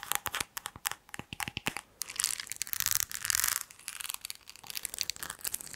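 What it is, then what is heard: Textured glass cup tapped and scratched with nails. A small, hollow, empty green textured drinking glass is held in the hand and tapped and scratched with long acrylic nails. Sharp, bright clicking taps come first, then give way to denser, hissing scratching and crinkly rasping across the textured surface, with a little more tapping near the end.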